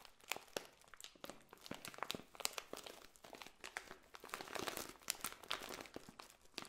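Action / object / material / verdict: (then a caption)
scrape / plastic bag of dried potpourri petals / plastic, dried petals / none. A clear plastic bag full of dried red potpourri petals is held in hand, squeezed and scratched with long nails. It makes a dense run of bright, sharp crinkles and crunches with quick rustling bursts and almost no low end.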